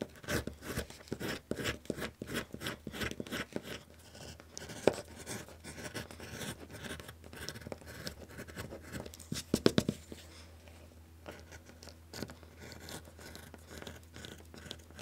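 A metal skiving tool scrapes and shaves the surface of a small, flat piece of brown suede-backed leather on a cutting mat, peeling off curls while a hand holds it down. Rapid, dry rasping strokes come thickly in the first few seconds, then thin out into softer scraping with a few sharper catches. A low, steady hum runs underneath throughout.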